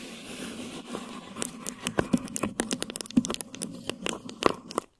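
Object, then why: Plastic wrap stretched over a microphone head. Thin plastic wrap stretched over a microphone head is tapped and scratched with long nails. The result is a dense run of sharp, dry crinkly ticks and scrapes over a soft rustling bed, with a few louder crackling taps standing out before it stops abruptly.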